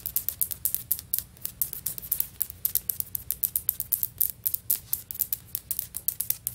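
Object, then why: Ceramic floor tile. Long fingernails on both hands tap quickly on solid, stone-pattern ceramic floor tiles. About 46 sharp, bright clicks come in a rapid, uneven run, each dying away almost instantly, over a faint steady low hum.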